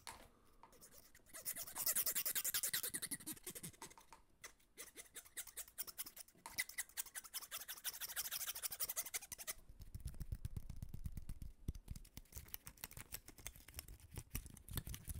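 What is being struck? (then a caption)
Plastic hair comb. A small, solid blue plastic hair comb with fine teeth is held in the hands while fingertips and nails flick and scratch quickly along its teeth. The result is a dense, uneven stream of bright, dry clicks and scratchy rasps that swell into high hissing bursts. Deeper thumping rubs show up toward the end.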